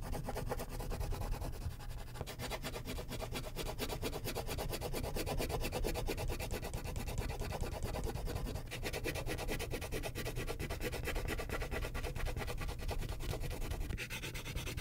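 A purple wax crayon is rubbed in broad shading strokes across a thin white paper sheet resting on a clipboard. The result is a continuous, rapid, scratchy rubbing with a strong low rumble underneath, holding a steady level throughout with only brief shifts in texture as the strokes change.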